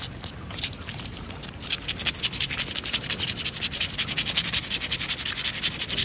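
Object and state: Wet stone paving slab being scratched.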